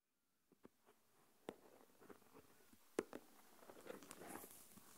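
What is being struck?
Plastic container filled with coarse salt.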